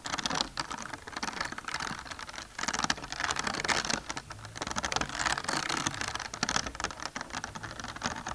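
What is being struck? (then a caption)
Ridged plastic container. Fast fingernail tapping on a bumpy plastic container makes a dense, continuous patter of light, crisp clicks. The sound is bright with little low end, and it swells and dips in bursts without any clear gaps between taps.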